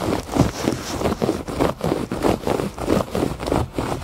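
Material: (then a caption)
Woven fabric. Fingertips and nails scratch the loops of a thick woven fabric rug lying flat outdoors on a porch. The strokes come as a steady, uneven run of soft, dull scratching rasps, mostly low-mid in tone with little bright content.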